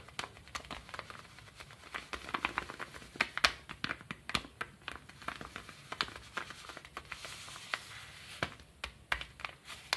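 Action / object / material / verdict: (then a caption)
scrape / kraft paper padded mailer / kraft paper / none. A small brown kraft paper padded mailer with stickers rests on a table while fingertips scratch and rub across the paper and stickers. The result is a close, dry stream of many short, crisp crinkles and scrapes with little low end and a bright, papery texture.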